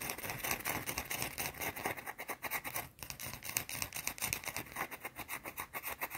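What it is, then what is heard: Round soap bar. Long blue-painted nails scratch and tap a small solid round white soap bar held in one hand. The result is a fast, continuous run of bright, dry scratching strokes and short taps. The sound is mostly high with little low end.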